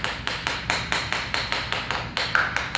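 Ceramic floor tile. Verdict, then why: Solid. A ceramic floor tile is tapped 14 times in a steady rhythm a couple of weeks after repair adhesive was injected beneath it. Each tap gives a short, bright, high-pitched click with only a brief ring and little low-end boom. The tile now sounds solid, with no hollow spot.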